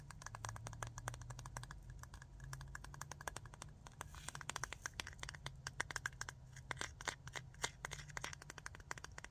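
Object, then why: Small clear jar of rhinestones with metal lid. Long nails tap rapidly on the body of a small clear jar full of rhinestones with a metal lid, making a fast stream of short, bright clicks. The rhinestones shift and rattle inside, all over a steady low hum.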